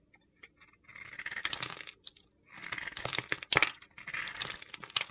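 A small white soap bar coated in orange glitter, held between fingers with long painted nails, is shaved with a metal utility knife blade. Three bursts of dry, crunchy, gritty scraping come with sharp crackling ticks, bright and high-pitched with almost no low end.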